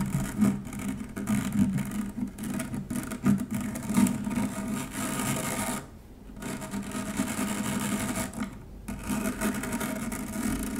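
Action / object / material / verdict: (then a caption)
scrape / stainless steel wire-mesh strainer / stainless steel / none. An upturned stainless steel wire-mesh strainer is scratched with the long nails of both hands. A steady, dense raspy scratching with a low hum-like body and bright fizz continues, dropping briefly near six seconds and again before nine seconds.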